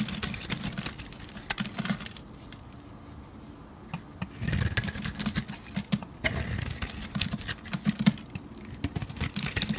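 A metal blade shaves the purple-gold glitter coating off a hand-sized solid bar of blue soap, making dense bursts of crisp, dry scraping and clicking with bright crackle. The cutting eases into a quieter stretch from about 2 to 4 seconds before resuming in busy flurries. A steady low hum sits underneath throughout.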